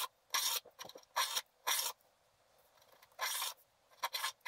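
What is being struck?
Wax-coated scratch art paper.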